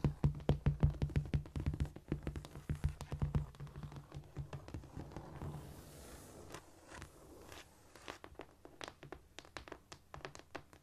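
Long painted nails and fingertips tap, scurry and scratch across a flat, solid cork floor. Quick, dull, low thuds with short clicky tips come in irregular bursts, loudest at the start. A softer, breathy scratching stretch follows before the light tapping returns.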